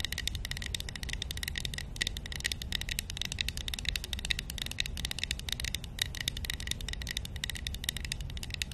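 A small, hollow, painted wooden matryoshka nesting doll, held in one hand, is tapped and scratched with long nails. The result is a steady, dense stream of quick, dry, bright clicks and scratchy rattling over a low rumble.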